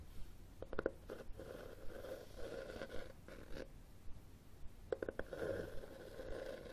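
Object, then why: Cloth-covered hardcover book. Fingernails tap and scratch the top cover of a red cloth-covered hardcover book held flat, with the thumb holding the spine. Quick clusters of soft, dull taps are mixed with gritty, rustling scratches that hum with a mid-range tone. The sound is quiet and close, and each tap dies away almost at once.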